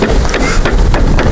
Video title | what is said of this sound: Beekeeping Installing New Package. Part 1 | you can hear more sliding down. There's quite a bit in here.